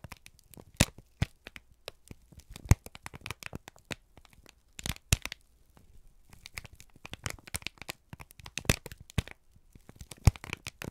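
A single thin, crumpled sheet of brown kraft paper is held in both hands and squeezed and crinkled with the fingertips and thumbs. The result is a steady run of short, crisp crackles and crinkling snaps. A few louder sharp cracks stand out, with quieter rustling between them.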